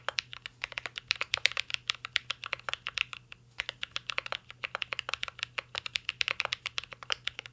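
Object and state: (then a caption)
Mechanical keyboard being typed on. Fingertips of both hands type continuously on a mint green Cyberboard R3 mechanical keyboard with a metal case and plastic keycaps. A rapid stream of sharp, bright clacks dies away almost instantly, with a brief pause near the middle, over a faint steady low hum.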